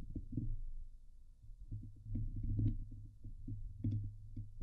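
Long nails scratch the hollow steel mesh dome grille of a Blue Yeti microphone, producing close, bassy rasping and scraping with a low hum-like drone near 94 Hz. Short, brighter crackles flick through the strokes in irregular bursts, and the level rises and falls with the scratching.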